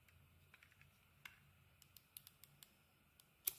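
A utility knife blade scrapes and shaves the outer layer off a solid green dotted Fa soap bar held in the hand. About twelve short, crisp, bright scraping clicks sound quietly over a faint low hum, with no ring after each one. The last cut, near the end, is the loudest.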